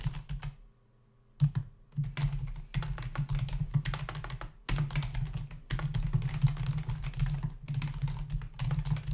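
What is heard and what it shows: Both hands tap with their fingertips on the plastic keys of a black plastic membrane computer keyboard with a hollow body, resting on a desk. Bursts of quick, dense typing produce hollow, low-pitched clacks and thuds, broken by short pauses, including a near-silent gap early on.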